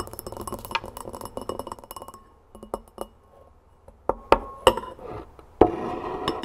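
Long nails tap around the rim and sides of a large clear glass mixing bowl on a wooden table, with a little brown scrub and a metal spoon resting inside. A fast, dense flurry of light glassy clinks fills the first two seconds, then gives way to sparser, irregular taps, some sharp and louder with a brief mid-pitched ring.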